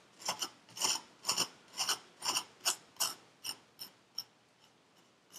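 A metal needle tool rakes lines through purple kinetic sand packed into a paper cup, making a series of short, bright, gritty scraping strokes. The strokes come at an uneven rhythm and grow quieter and shorter toward the end, with one more soft scrape at the close.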